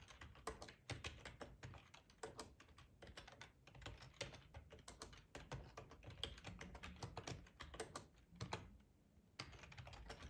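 Fingertips of both hands type on a black plastic ergonomic split computer keyboard with a hollow housing, lying on a tablecloth. Quiet, fast, uneven key taps come as short bright clicks with a low hollow thump underneath. Each dies away almost at once, with a brief lull near the 9-second mark before the typing picks up again.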